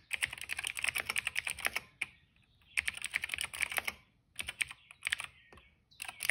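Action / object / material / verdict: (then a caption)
tap / plastic mechanical keyboard / plastic / none. Two hands type with their fingertips on the keycaps of a plastic retro mechanical keyboard resting on a rug. Quick bursts of bright, dry, clicky keystrokes centered around 2 kHz come in uneven runs separated by short pauses, with each click cutting off almost instantly.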